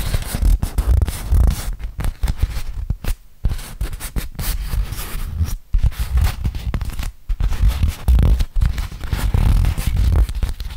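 A large, crumpled, flat beeswax-coated cotton food wrap is held open in both hands while fingertips rub and crinkle the stiff waxed fabric. Dense, scratchy crinkling comes in rapid bursts with a heavy low-end rumble, broken by a few brief near-silent pauses.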